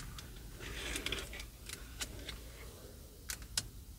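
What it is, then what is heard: Plastic steering wheel cover tapped with fingernails. Long purple acrylic nails tap on the hollow plastic, leather-covered airbag cover at the centre hub of a car steering wheel and on the spoke control buttons. The result is a quick, irregular series of short, bright clicks that die away almost instantly, heard over a low, steady rumble.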